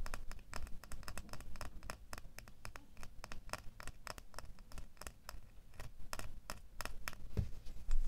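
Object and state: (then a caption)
Metal door key. A small solid metal door key is held and then laid in the palm while fingernails scratch and tap it. Rapid, sharp, bright clicks and light scratching sounds run throughout over a low, rumbling background, with each tap dying away almost at once.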